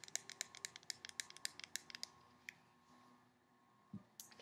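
Long painted nails tap and scratch along a handheld white plastic cosmetic squeeze tube with a black cap, hollow and apparently filled with product. A quick, uneven run of bright, dry clicks fills the first two and a half seconds, then goes quiet. A soft low thump and a few more crisp taps follow near the end, each click dying instantly with no ring.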